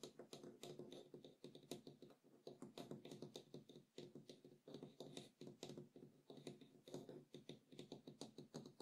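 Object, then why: Small wooden bowl. Fingertips and short nails of both hands tap and scratch the rim and inner wall of a small, empty, hollow wooden bowl with acacia-like grain resting on a table. Quick, dry, hollow knocks with a woody tone near 360 Hz are mixed with soft scratching, each tap dying away almost at once. The tapping runs as a steady, irregular patter throughout.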